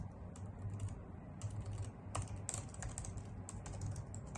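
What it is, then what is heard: Plastic computer keyboard being typed on. Long nails on both hands type rapidly on a full-size white plastic computer keyboard resting on a wooden desk, with an untouched laptop nearby. The sound is a continuous stream of quick, bright, clicky key taps with short decays over a steady low hum around 113 Hz.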